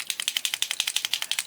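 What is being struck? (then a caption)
Paint marker pen with metal mixing ball. A metallic paint marker pen is shaken before first use, and the mixing ball inside rattles in a fast, even series of 15 sharp, bright clicks. The clicks are high-pitched with almost no low end, which shows there is a ball inside to mix the silver paint.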